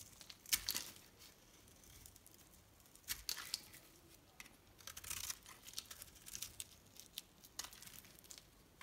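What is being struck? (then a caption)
Soap bar shaved by a metal blade. A metal knife blade shaves a solid pink bar soap with a blue coated rim, peeling off long thin shavings. Soft, bright scraping and crisp, tearing rasps come in short bursts separated by quiet pauses.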